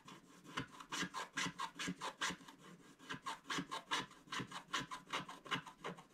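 A thin wooden stylus held in the fingertips scratches the black wax coating off a flat scratch-art paper card of colored paper lying on a table, leaving scraped black flakes around it. Quick short strokes, about two or three a second in an uneven rhythm, each give a dry, bright raspy scratch with a faint steady tone near 1 kHz. Each stroke stops short with almost no ring.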